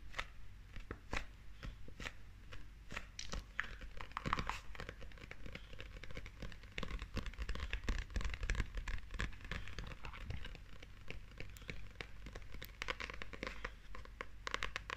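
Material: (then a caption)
Paper. Long nails tap and scratch the front cover and edges of a small, solid, glossy paperback manga book held close up. Quick, irregular dry clicks mix with bright, papery scratching and crinkly rustles. The sounds are quiet and short-lived over a steady low hum.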